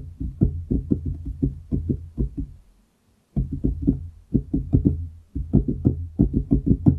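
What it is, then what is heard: Wooden desk. Fingertips of both hands tap on a large solid wooden desktop close to the microphone, producing quick, dull, low knocks with almost no ring. The taps come in rapid bursts, pausing into near silence around the three-second mark before resuming with brief breaks near four and five seconds.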